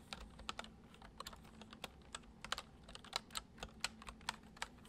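Fingertips of both hands tap fast on the hollow keys of a full-size white plastic computer keyboard resting on a wooden desk. About twenty short, sharp, bright clicks come in quick, uneven bursts at a soft level, each dying away almost instantly. A faint steady low hum sits underneath.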